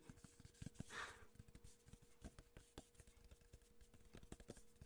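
A tall, hollow, cylindrical printed cardboard gift tube with a metallic lid and a ribbon handle is held in one hand while fingertips and nails rub and scratch along its printed side. Quick, dry taps and scrapes come with low, hollow thumps from the tube, plus a brighter, longer swishing rub near the start.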